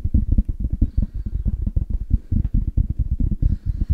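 Fast tapping on a headphone case, with a rapid, uneven stream of short, dull, low-pitched taps. Each tap dies away almost instantly, with very little bright content.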